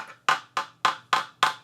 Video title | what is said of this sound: Are Vintage Guitars Really As Good? | if you tap on it and it sounds like that through your whole guitar like it sounds super Hollow sounding